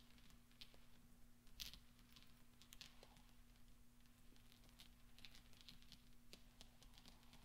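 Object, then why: Small steel balls. Small solid steel pachinko balls on black velvet are rolled and clinked with nails and fingertips. Quiet rolling and rustling carries scattered bright, short metallic clicks around 3.3 kHz that die away almost at once. A steady low hum runs underneath throughout.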